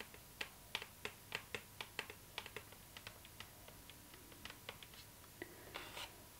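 Long nails of both hands tap on the lid of a hollow cardboard gift box with a glossy floral print, producing 21 quick, bright clicking taps with very short ring and little low end. The taps start sharp and regular, then grow softer and more scattered, ending in a brief cluster of lighter clicks.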